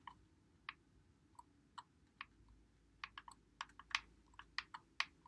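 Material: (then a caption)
Plastic. Fingertips press and click the buttons and thumbsticks of a white Xbox One controller with a hollow plastic body, held in both hands. A string of short, sharp, bright plastic clicks comes at an uneven pace over a quiet low hum, each one dying away almost at once.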